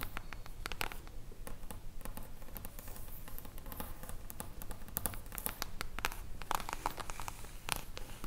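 Long acrylic nails tap and scratch the silver mirror-foil cover of a solid hardcover book held upright. The sound is a fast, irregular patter of sharp, dry clicks mixed with brief scratchy rasps over a low steady rumble, with each tap stopping almost instantly.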